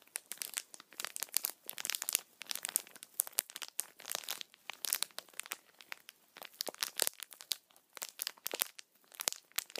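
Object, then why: Thin clear plastic bag. A small, empty, clear thin plastic bag is held upright in one hand while the fingers squeeze and crinkle it. Dense, bright, crackly crinkles come in irregular bursts with short pauses between them. There is almost no low end.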